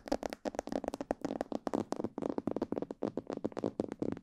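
Long purple fingernails and fingertips tap the sides and ears of a life-size, hollow, glossy black plastic mannequin head. About 22 quick, dry taps come in a steady stream, each with a hollow, mid-pitched knock that dies away almost at once.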